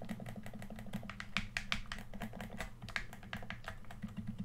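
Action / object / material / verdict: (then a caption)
tap / plastic game controller / plastic / none. Fingertips click the buttons of a hollow red plastic PS4 controller, then tap its lower shell. The result is a fast, uneven run of short, dry plastic clicks and taps with bright edges that die away almost at once, over a steady low hum.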